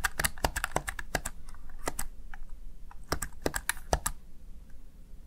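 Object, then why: Plastic gaming keypad. Fingertips and long nails rapidly press the keys of a small, hollow, backlit plastic Razer Tartarus Chroma gaming keypad. The result is a quick, uneven run of sharp, bright clacks that die away almost at once, over a steady low hum.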